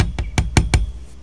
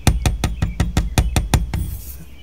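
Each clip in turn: First: A few light, dry clacks on a metal trim screw; the sharp, rattly click points to a loose screw. Second: Eleven quick, dull taps with low thuds and no ring: the metal trim screws sit tight.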